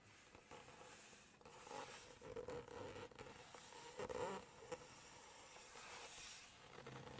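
Long acrylic nails tap and scratch across the glossy pages of a large hardcover cookbook open to text and photos. Soft, close papery scrapes and light taps rise and fall, with a faint squeaky tone near 500 Hz. There are some brighter rustling swells over a quiet, hissy background.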